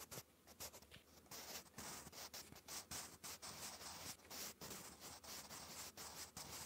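A wooden graphite pencil held in the fingers scratches cursive letters onto a textured lined notebook page in continuous strokes. A quiet, bright, dry scratching runs throughout, broken by short pauses between strokes.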